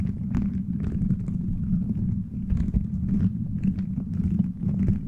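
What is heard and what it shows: Fingers scratch and rub the plastic beads of a gummy-bear-shaped beaded cover fitted over a microphone. The sound is a steady, dense, low rustling rumble, with faint brief clicks and ticks flickering up into the high range throughout.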